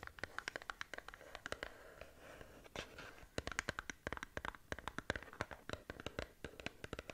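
Long nails scratch along the side of a small upright cardboard skincare box, making a rapid series of short, dry, crisp ticks and scrapes. Each scratch dies away almost instantly, with a brighter midrange tone around 1.6 kHz. A quieter stretch of soft rubbing in the middle separates the busier bursts of scratching.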